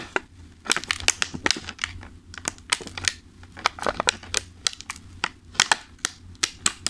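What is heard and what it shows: Fingertips tap, press and crinkle a thin, clear plastic clamshell food container full of pastries. Many sharp, bright crackling ticks come in quick irregular bursts, each dying away almost instantly, over a faint steady low hum.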